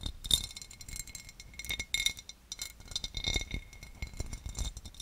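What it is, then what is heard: Cut glass serving dish. A large, empty oval serving dish of clear cut glass, held above the microphone, is tapped and scratched with the long, dark-painted nails of both hands. Bright glassy clinks ring briefly at a high pitch, scattered among quick clicks and a soft rasping scratch.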